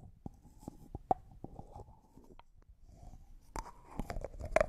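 Fingernails and fingertips twist, rub and tap the white plastic screw lid of a small, hollow, clear cosmetic jar that looks like glass and appears empty, held in both hands. Sharp, quiet clicks ring briefly with a tone around 640 Hz, between soft scratchy rubbing and faint crunchy scraping. The taps grow denser and louder toward the end.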